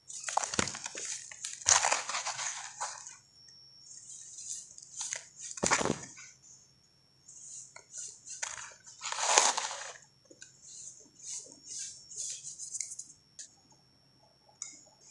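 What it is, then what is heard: Dry compacted sand clumps crumbling. Bare fingers and palms squeeze and crumble handful-sized chunks of solid, compacted dry grey sand in a blue plastic tub, and fine powder pours down onto a pile of chunks below. Bright, gritty crunches and crackling bursts come and go with short quiet gaps, trailing into a soft sandy hiss as the grains fall.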